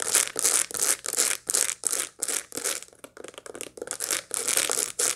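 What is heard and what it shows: Long light-blue nails scratch across the seeds of a dried sunflower head held close up. The result is a run of dry, bright, crackly bursts in an uneven rhythm, with brief pauses between strokes.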